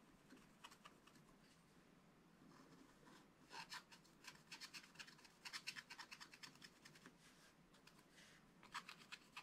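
A pointed wooden stylus held in the fingers scratches short, repeated strokes across a black wax-coated scratch-art page, a solid flat card in a small spiral-bound book. The quiet, dry, bright scratching comes in quick bursts, with louder clusters of strokes toward the middle and end.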